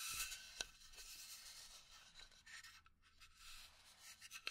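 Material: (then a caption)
Pine wood. Long nails scratch and tap a small hollow pine wood box held in the hand. A quiet, bright, dry rasping runs throughout, broken by a few sharp clicky taps that stop instantly with no ring.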